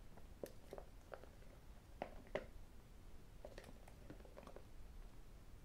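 A small, hollow white cardboard iPhone box is held, then tapped and scratched with fingertips and metal rings. Quiet, short, dull taps with a hollow mid-pitched knock land at irregular intervals over soft scratching. The taps die away almost instantly against a low background rumble.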